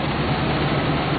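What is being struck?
Nothing is struck.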